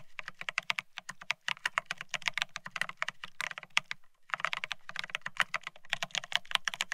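Both hands type rapidly with their fingertips on a Bear65 mechanical keyboard fitted with blank white matte ceramic Cerakey keycaps on a steel plate, resting on a white cloth. The result is a dense, steady stream of short, bright, clacky keystrokes centered around 3 kHz, with a faint low thock beneath. The typing pauses briefly just after the midpoint, then resumes.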